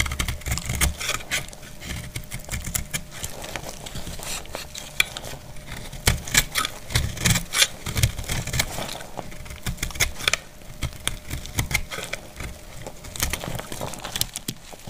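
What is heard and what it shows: A palm-sized, solid, dried green soap bar is held in one hand and shaved and cut with a utility knife blade, so flakes crumble off. Quick, irregular scraping and crisp cracking strokes come in a steady stream, and there is a low rumbling underneath.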